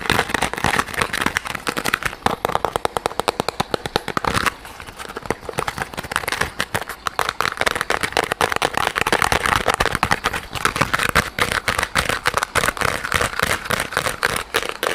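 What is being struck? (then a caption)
Soft rubber squishy toy. A small, soft yellow rubber squishy pineapple toy is held right at the microphone and squeezed and scratched with fingertips and nails. This makes a dense stream of fast, dry crackles and bright scratchy clicks, with a brief quieter lull near the middle before the rapid scratching picks back up.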